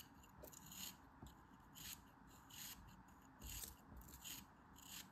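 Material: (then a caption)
Kinetic sand. A small, solid, beige chunk of molded kinetic sand is held in fingers with long red nails and scraped and shaved with a metal utility knife. Soft, bright, gritty rasping swells and fades in repeated strokes, with faint low thumps underneath.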